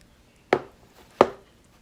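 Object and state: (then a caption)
Baked bread loaf, sounds hollow (done). A hot homemade sandwich bread loaf, still in its pan after 30 minutes of baking at 400°F, is tapped twice, giving two short, dull thumps with a quick decay. The hollow sound from inside shows the bread is done.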